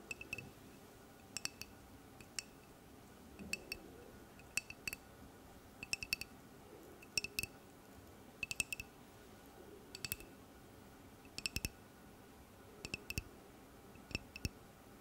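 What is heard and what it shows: Long nails tap and click on a hollow, clear glass bottle with a grey plastic cap as it is turned in the hands. Short, bright clinks come in small clusters about every one to one and a half seconds. Each tick dies almost instantly over a soft, steady background hiss.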